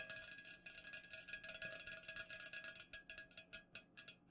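Long nails rapidly tap the sides of an unopened, full aluminum Pepsi can standing upright. The result is a quick, uneven run of bright, clicky metallic ticks with a faint ringing tone near 1.7 kHz, each tap dying away quickly, with the taps spacing out slightly toward the end.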